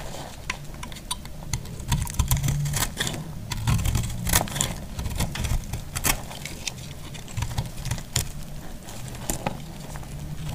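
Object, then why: Soap bar cut with a metal blade. A dry, solid marbled pink, green and purple soap piece is scraped and cut with a metal utility blade. Many sharp, brittle scraping clicks and crisp cuts sound over a low rumbling background, each snapping off quickly.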